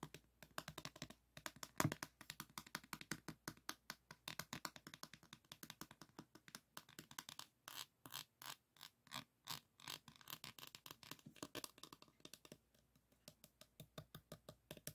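Fingertips and nails rapidly tap and scratch a small framed diamond painting board covered in plastic resin rhinestone drills. The result is a dense run of crisp, dry clicks with a bright, gritty texture, each dying away almost instantly. The clicks ease briefly near the twelve-second mark, then resume at a steady pace.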